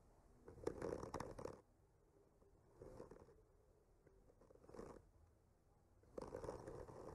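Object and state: Wooden panel scratched with a skewer tip.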